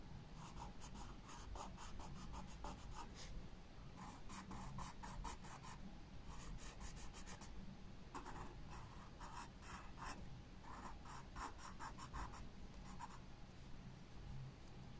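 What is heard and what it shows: A pencil shades and outlines a star-shaped flower on a paper sketchbook page lying flat on a wooden table. Its graphite tip scratches over the paper in quick, bright back-and-forth strokes that come in bursts with short pauses between them. A soft low rumble sits steadily underneath.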